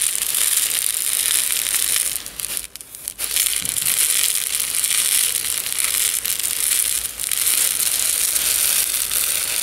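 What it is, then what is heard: Plastic jar of loose tea granules being shaken. A medium plastic jar with a yellow screw lid, partly filled with loose instant tea granules, is held in both hands with the fingertips and tilted or shaken so the granules roll inside. The result is a steady, bright, sandy rattle and hiss, almost all in the high range, that briefly drops away a little before the three-second mark before resuming.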